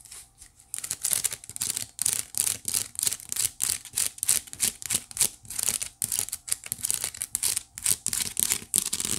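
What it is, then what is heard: Wicker basket being scratched. Fingertips and long nails scratch and rub across the weave of a hollow white woven wicker basket. A quick, somewhat uneven series of dry, crackly scratching strokes, bright and papery, repeats through the clip with short gaps between them.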